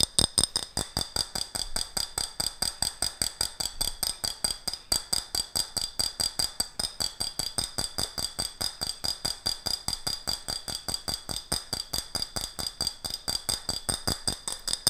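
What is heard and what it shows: Fingernails rapidly tap and scratch the body of an empty, hollow, ribbed clear glass jar with a gold metal screw lid. About 75 short, sharp clicks come in a quick, slightly uneven stream over roughly 15 seconds. Each is a bright, high glassy tick with a faint high ring that dies away almost at once.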